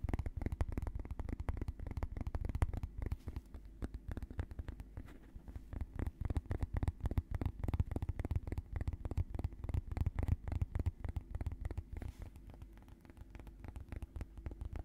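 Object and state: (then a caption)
Plastic lid. The fingertips of both hands, with short nails, tap and scratch rapidly on a small round orange plastic lid or disc-shaped container held over a felt-covered table. The dozens of quiet, dull taps and scratchy rubs are mostly low, thumpy sound with almost no brightness, and each tap dies away almost instantly.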